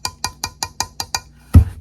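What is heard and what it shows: A plastic sublimation cup is tapped eight times, seven quick, evenly spaced, short dull clicks and then a louder, lower thump. The taps sound dull and light next to a ceramic cup, with almost no ring after each hit.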